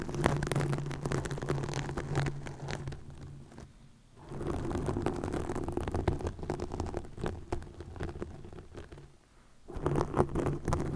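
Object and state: Plastic mesh netting scratched on a microphone.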